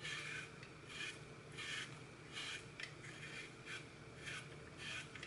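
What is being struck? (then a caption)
Glitter-coated floral foam block. Fingers break and crush a hand-sized, solid, porous block of green floral foam, its face coated in red and gold glitter with a cartoon baby picture, over a glass bowl already holding crumbled foam pieces. Repeated rasping, crumbling bursts with a bright, gritty texture centered around 2 kHz rise and fall at an uneven pace, while falling pieces may also touch the bowl.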